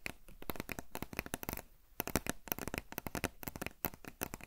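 Long nails scratch and tap the printed side of a tall, hollow cardboard potato chip canister held near the microphone. Rapid dry clicks and scratchy strokes come in quick bursts with a brief lull partway through, each tap dying away almost at once over a faint hollow low thud.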